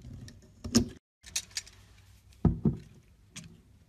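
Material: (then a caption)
Soap. A metal blade slices thin layers off a solid mint-green bar of soap embossed with a leaf. Short, crisp cutting strokes, each with a low thud and a bright, high scrape, come at irregular intervals around a brief moment of silence.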